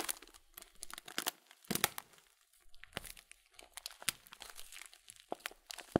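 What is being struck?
Plastic bag of oat flakes.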